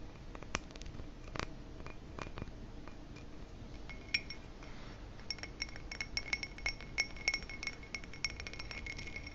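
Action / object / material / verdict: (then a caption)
tap / ribbed glass footed goblet / glass / none. Fingertips and nails tap the stem and bowl rim of a hollow, empty, dark ribbed glass footed goblet, producing light clinks over a soft, steady hiss. The taps are brief with little ring, though many carry a faint glassy tone near 2.2 kHz, and they grow more frequent in the second half.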